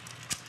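A breaded fish fillet, cooked in a halogen oven with almost no oil, gives a short, sharp crunch when its breading is struck, a bright crackle over a faint background hum. The breading is golden brown and crispy.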